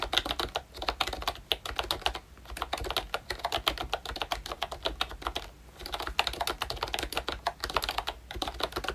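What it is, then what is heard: Plastic membrane keyboard. Fingertips type steadily on a pink plastic ROYCHE Disney Mickey Mouse retro membrane keyboard with round keycaps and a hollow body. Dense, quick, bright clicky taps come in bursts with brief pauses near 2.2 and 5.6 seconds, each tap dying out almost instantly over a faint low hum.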